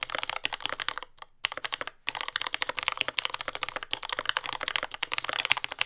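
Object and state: Mechanical keyboard with plastic keycaps.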